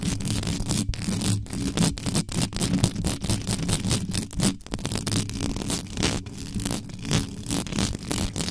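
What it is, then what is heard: Metal mesh microphone grille being scratched. Long yellow nails on both hands scratch fast and hard across the hollow metal mesh grille of a black condenser microphone with no cover on it. The result is a dense, continuous, rasping scrape with a heavy low rumble around 176 Hz and bright, hissy friction on top, broken by quick choppy strokes and brief gaps.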